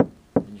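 Two knocks on the edge of a laminated glass windshield, near its perimeter, where installation stress extends about four inches in from the edge. Each knock is a short, dull, low-mid thud with almost no high-frequency content, and it dies away quickly. This stressed edge zone fractures more easily than the rest of the glass, which is why edge cracks are common.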